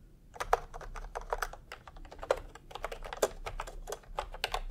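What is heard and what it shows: A full-size plastic retro computer keyboard with round pastel typewriter-style keycaps and a hollow body, resting on a white cloth, is typed on quickly with fingertips. Short, hollow plastic clicks patter in a dense, uneven stream, with a few sharper, louder key strikes standing out.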